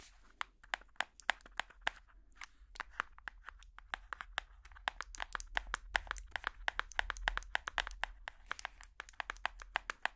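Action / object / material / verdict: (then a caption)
tap / hardcover cardboard picture book / cardboard / none. Colourful plastic finger picks tap and scratch the solid cardboard-and-paper cover of a large hardcover children's puzzle book. Dozens of quick, dry, bright taps arrive in an uneven rhythm, each dying away almost instantly. Soft scratching fills the gaps over a faint low hum.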